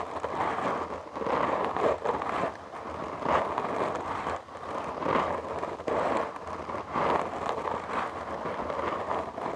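Fingertips and short nails of both hands scratch a black foam windscreen on a large microphone. A dense, close, scratchy rustle centred in the mids rises and falls in uneven surges, with short dips between passes.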